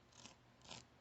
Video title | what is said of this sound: Persian Rice (Tahdig) | You can hear how crispy that is.